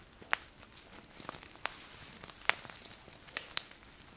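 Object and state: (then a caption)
Paper bag of dry grains. A small paper bag tied with a ribbon and filled with a dry grain product is squeezed and rubbed with fingertips and nails. Soft, quiet crinkling is broken by several sharp, bright crackles that stop almost instantly, with almost no low end.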